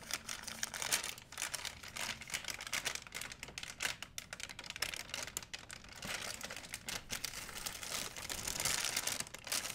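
A large, empty, white printed plastic shopping bag, stretched flat, is crinkled by fingers. Dense, bright crackling and rustling runs continuously, with sharp, short clicks that die away almost instantly and almost no low end.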